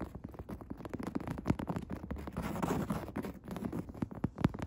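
Long red-tipped fingernails scratch and tap across a padded woven upholstery chair seat. Quick, muffled taps and soft scratchy rustling stay mostly low and dull, with almost no bright edge. A denser stretch of steady scratching sits in the middle, and a few firmer taps stand out near the end.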